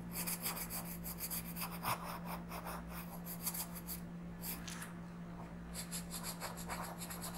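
The lead of a blue wooden colored pencil rubs and scratches across a thin printed paper coloring page lying flat on a dark surface while coloring. Quick, bright, raspy strokes repeat in uneven bursts over a steady low hum.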